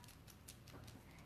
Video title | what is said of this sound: Fox Canvas Class | you shake it up you hear that little shaky sound inside